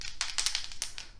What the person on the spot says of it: On entend la petite bille à l'intérieur quand on fait ça